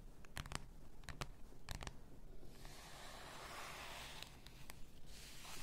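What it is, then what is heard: Full glass bath salt bottle. Long nails tap and scratch a full bath salt bottle, likely glass, working over its shoulders and its labelled body. Sharp, bright clicks come first, then a steady, hissing scratch, then a few more clicks near the end.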